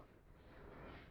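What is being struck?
Nothing is struck.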